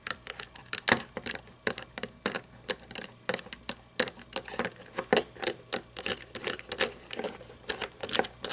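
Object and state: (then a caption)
Toy monster truck, plastic body. Long painted nails tap and scratch the hollow plastic-and-chrome body and roof of a small red toy monster truck lying on its side. A steady, irregular run of quick, bright clicking taps, each dying away almost at once, is mixed with thin scratchy rasps and has almost no low end.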